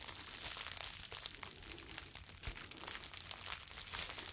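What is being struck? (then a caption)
Plastic bubble wrap sheet. A clear plastic bubble wrap sheet is crumpled, then stretched between both hands and crinkled with the fingers. The result is a dense, continuous bright crackling and crinkling with quick, sharp snaps and very little low end.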